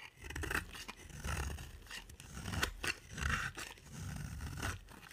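A utility knife blade scrapes across a solid, dry pink soap bar with a black glitter coating, carving it in a series of uneven strokes. Each stroke gives a crisp, scratchy rasp with bright crackling over a soft low rumble, and the shavings grate as they come away from the bar.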